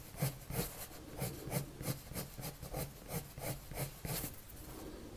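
A blue colored pencil rubs slowly across a white paper sheet on a table while drawing, making soft, scratchy strokes that repeat about three times per second. Each stroke carries a bright, grainy hiss over a low hum, and the strokes rise and fall unevenly in a steady, quiet rhythm.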